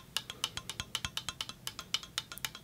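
A metal sai is tapped in a quick, fairly even series of light strikes. Each tap gives a short, bright metallic tick centered near 3 kHz that fades almost at once, with very little low end.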